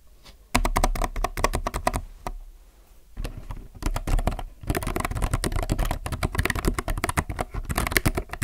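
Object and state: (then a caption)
Plastic mechanical keyboard. Both hands type with their fingertips on a compact mechanical keyboard with plastic keycaps. After a brief quiet start, a fast run of sharp, clacky keystrokes slows during a short lull, then picks back up into steady, dense typing. Each keystroke is short and dry with a full, low-weighted thock.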